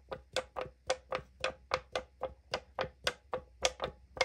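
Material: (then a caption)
Aluminum. Long nails tap and scratch the printed side of a tall 500 ml aluminum drink can held in the hand, its hollow thin metal answering each touch. Sixteen quick, unevenly spaced clicks each carry a brief tinny ring around 520 Hz with a bright, crisp edge that dies away almost at once.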